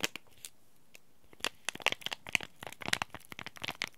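Fingertips and short nails crinkle, bend and scratch a small, flat, bright green laminated plastic/foil Oi Ocha green tea bag packet, sealed with a tea bag inside. A few sparse crisp crackles open the clip, then give way to a denser run of sharp, dry crinkles and snaps. The sound is bright, centered around 2.4 kHz, with little low end and almost no ring after each crackle.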